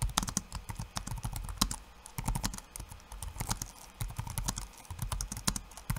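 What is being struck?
Plastic laptop keyboard.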